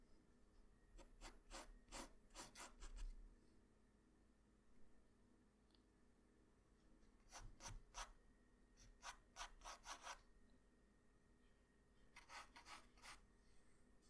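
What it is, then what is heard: Pencil scratching on drawing paper. A hand-held graphite pencil scratches and rubs lines onto a flat white sheet of drawing paper. Quick, bright, raspy strokes come in three bursts, separated by quiet stretches over a faint low hum.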